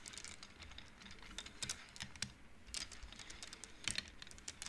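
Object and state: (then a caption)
Wooden bead abacus. Fingertips with long nails slide painted wooden beads along an upright wooden-frame abacus, making the beads clack together. The result is a quiet, irregular run of quick, dry, bright clicks with almost no ring, some louder clacks standing out among softer taps.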